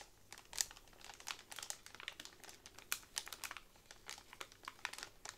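Long nails tap and rub over a pack of hollow bamboo straws bundled in clear plastic wrap, making a quiet, irregular crinkle. The crisp taps and rustles are bright and high-pitched with almost no low end, and each one stops short with no ring.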